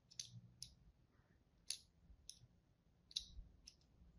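A pink-and-white striped bar of dry solid soap, held in a hand, is cut as a thin wire or thread is drawn across it and a tip held in pink-nailed fingertips scores its surface. Seven short, crisp, bright scraping clicks come at irregular intervals and decay almost instantly. A faint low hum sits underneath.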